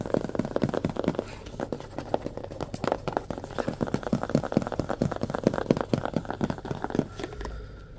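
A small white cardboard phone box is held on edge while fingertips and nails tap and scratch along its narrow side. Rapid, dry, papery taps and scratchy crinkles sound in an uneven stream, with a dull, muffled body and very little brightness. Each tap dies away almost instantly.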